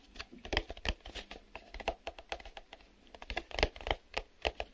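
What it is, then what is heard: Cardboard box. Fingernails tap quickly on the glossy printed sides of a small, empty, hollow printed cardboard retail box held in both hands. The result is a rapid, irregular run of short, dry clicks and light hollow knocks with almost no ring.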